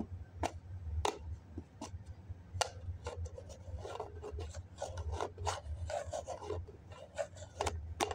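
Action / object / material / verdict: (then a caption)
scrape / foam cup with plastic lid / foam, plastic / none. Fingertips and nails scratch and tap the wall and lid rim of a small, hollow white cup, likely foam, with a snap-on plastic lid, held in the hand. Sharp, dry taps alternate with raspy scratching bursts, all sitting over a steady low hum.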